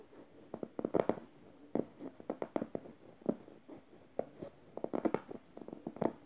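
Red-nailed fingers scratch a yellow plush fabric emoji pillow, raking over both the fabric and its felt eye. Short dry scratching strokes come in uneven bursts, some harsh and some gentle, with no ring after each.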